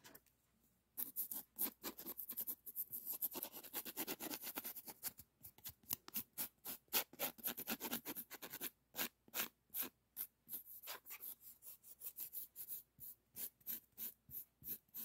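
A flat, thin pink heart-patterned emery board nail file is held in the fingertips and rubbed and scratched close to the microphone. After a second of quiet, dense bright rasping scrapes build into a steady gritty rubbing, then break into quick, separate short strokes with brief silences between them.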